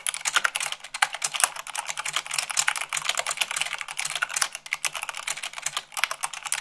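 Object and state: Plastic mechanical keyboard.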